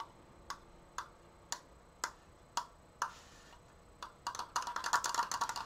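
Long painted nails tap the thin slats of a large stained wooden triangular Triforce frame, making sharp, dry clicks centered around 1 kHz with bright edges and almost no low end. About eight separate taps come roughly every half second, each dying away almost at once, then the tapping quickens into a dense, louder flurry of rapid clicks.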